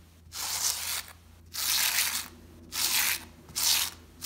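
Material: Fabric.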